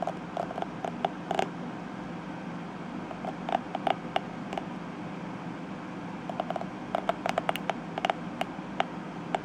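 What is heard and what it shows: A fingertip and nail brush and flick across the tips of dense purple plastic bristles on a detangling hairbrush. Quick, dry plastic ticks and snaps, each with a bright click near 750 Hz, come in scattered clusters. They play over a steady low hum throughout.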